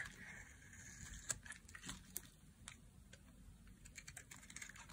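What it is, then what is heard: Dry soap bar being carved. A solid yellow bar of dry soap, held in a hand with long painted nails, is carved with a knife blade so thin curls and strips shave off. Quiet, bright scraping runs throughout, broken by short, sharp clicking cuts.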